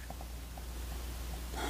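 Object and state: Nothing is struck.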